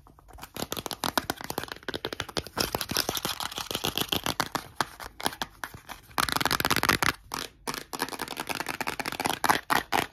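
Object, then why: Hollow plastic bottle. A hand-sized, hollow white plastic Johnson's baby powder bottle with a cap is rapidly tapped and scratched with short nails and fingertips. Dense, quick, dry clicks and scrapes follow one another with almost no ring, centered around 840 Hz with a bright edge. A louder burst of scratching comes about two-thirds of the way through.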